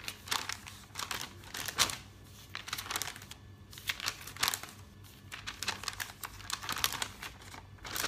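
Fingertips turn and flick the thin glossy pages of a thick open paper catalog lying on a table. The clip is full of bright, crisp crinkling and rustling with quick papery snaps as each page moves, mostly high in tone with little low end. The bursts come in irregular clusters of varying loudness between quieter stretches.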